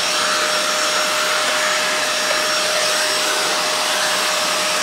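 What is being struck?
Nothing is struck.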